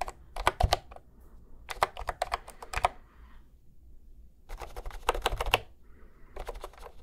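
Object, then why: Plastic round-key keyboard. Fingertips press and tap individual round keys on a cream plastic retro keyboard held horizontally at microphone level. Quick, bright clicky taps come in short bursts separated by quiet pauses, each tap dying away almost instantly over a faint low hum.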